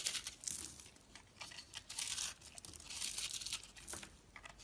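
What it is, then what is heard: Dried soap bar being scraped. A dried, porous, solid purple and pink striped bar of soap is held in the hand while a utility knife blade scrapes and shaves crumbly flakes off its surface. Repeated bright, crisp scraping and crinkling strokes rise and fall in bursts, with almost no low end.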